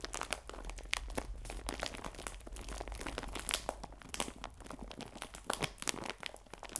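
A clear plastic bag full of biscuits, held upright, is squeezed and crinkled with the fingertips. Dense, bright crinkling and crunchy crackles run continuously, with sharper snaps throughout and a faint low rumble underneath.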